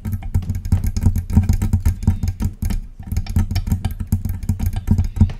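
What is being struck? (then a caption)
Metal desktop microphone. Long press-on nails tap rapidly on the base of a silver metal desktop USB microphone with a hollow body, then move to tapping the body itself. The fast, clicky taps run together into a continuous low, boomy rumble around 90 Hz, with bright ticks on top and no pauses.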